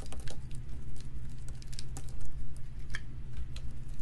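A solid, dry pink soap bar held in the hand is scored and scraped with a metal utility knife blade, leaving soap shavings around it. Short, crisp scratching and cutting strokes crackle one after another over a steady low hum, each fading quickly.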